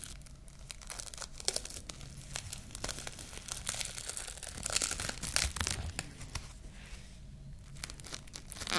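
Long nails scratch and peel at the surface of a long roll of clear plastic cling film held upright in one hand. Dense, bright crinkling and tearing crackles run throughout, with a low rumble underneath. The sound peaks in a louder burst of tearing about two-thirds of the way through.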